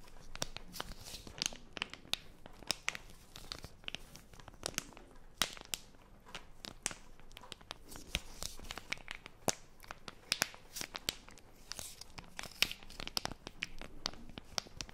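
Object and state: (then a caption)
Plastic film wipes packet being scratched and crinkled. A small plastic film wipes packet is held in both hands while long nails scratch and crinkle its wrapper. Quick, bright crackles and sharp clicks snap over a soft rustling hiss, with each tick dying away almost instantly.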